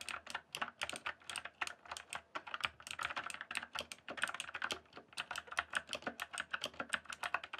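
Fingertips type steadily on a rainbow-backlit, full-size mechanical keyboard with plastic keycaps. A rapid stream of short, crisp clicks and clacks is heard, bright and dry with almost no ring and no low thump.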